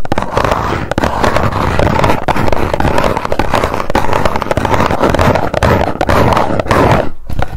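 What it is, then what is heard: Small cardboard box tapped with long nails. Long nails tap rapidly on the face of a small, hollow white cardboard box held in both hands. The result is a dense, steady stream of quick clicks with a hollow, boomy low-mid body and little high treble. There is a brief pause near the end before the tapping resumes.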